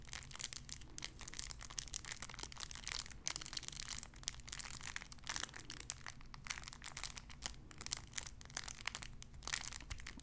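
A clear cellophane wrapper around a small sun-shaped figure is crinkled with fingertips and nails. The sound is a quiet, continuous stream of bright, crackly crinkles with sharp little snaps scattered throughout, over a faint steady low hum.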